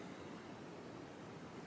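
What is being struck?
Nothing is struck.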